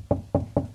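Three knocks on drywall over a wooden stud give short, solid, dull thuds with a low body and almost no ring. The firmer sound marks the stud right behind that spot.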